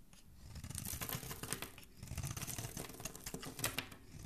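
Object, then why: Soap bar scraped with a metal blade. A palm-sized solid white Dove soap bar, held in the hand, is shaved with a metal utility blade that curls off flakes. The scraping sounds as a dense run of crisp, bright crackling strokes over a soft low rumble, swelling and easing in quick bursts.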